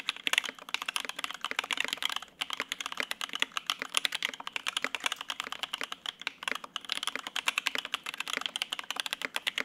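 Both hands type rapidly with their fingertips on a Lin Works Whale 75, a 75% mechanical keyboard with lubed linear Opblack switches on a polycarbonate plate and white/grey double-shot ABS keycaps, resting on a desk mat. The keys bottom out in a dense stream of short, bright clacks with almost no low end and no ring, broken by a brief pause near 2.3 seconds.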